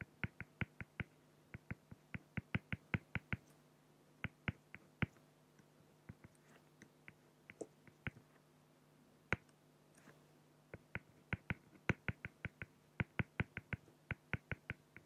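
A fine-tip pen draws hatching strokes on a flat, solid acrylic (plexiglass) sheet, producing 42 short, crisp ticks in quick irregular bursts with brief pauses between them. Each tick is sharp and dry, stops almost instantly and reaches up into bright highs, over a faint, steady low hum.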